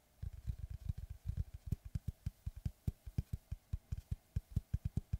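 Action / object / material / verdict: tap / wooden log slice / wood / none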